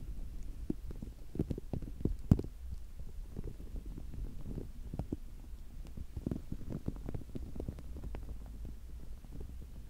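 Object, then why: Soft rubber spiky ball. A small, soft, palm-sized green spiky rubber sensory ball is turned in the hands close to the microphone while fingertips scratch and squeeze its spikes. The result is a steady run of muffled, low, bassy rubbery squelches and rumbles, with quick soft clicks and scratches spread throughout and a sharper tap near the start.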